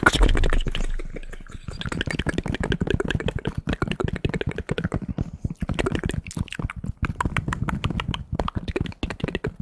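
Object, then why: Polyester fitted baseball cap. Fingertips tap and scratch the stiff front panels of a navy New York Yankees polyester fitted baseball cap with an embroidered patch, held hollow and empty. A rapid, dense run of short, dull taps mixed with scratchy rustling follows a louder low rumble at the start. Each tap is muffled, mostly low in tone, and dies away almost at once.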